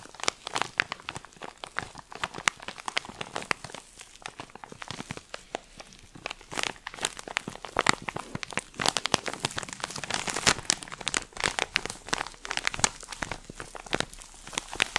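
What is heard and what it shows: A plastic-film-wrapped pack of cotton pads is held in the hands and squeezed and scratched with the fingertips and nails. The result is a steady stream of dense, bright crinkles and sharp crackles with no lingering ring, growing slightly busier toward the end.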